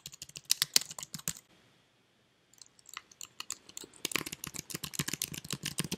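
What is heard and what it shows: Fingertips type on and tap the keys of a white, slim plastic computer keyboard, making quick, bright, clicky taps with very short decay. A burst of irregular typing fades into a brief near-silent pause, then the tapping resumes and grows denser and louder toward the end.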